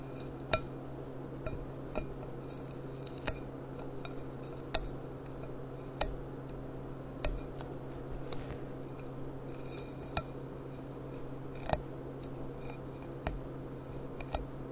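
Long painted nails make quick clicking taps on a clear, empty, hollow gilt-rimmed glass goblet bowl held on its side. Each tap is a short, bright click with a brief ring that dies almost at once, spaced irregularly over a steady low hum.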